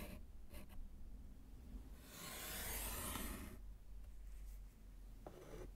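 A gloved hand draws diagonal lines with white chalk across a small, flat, solid slate chalkboard set in a wooden frame. A few short, faint scrapes lead into a longer, bright, hissing chalk scratch lasting over a second, then a brief stroke near the end. A steady low hum sits underneath throughout.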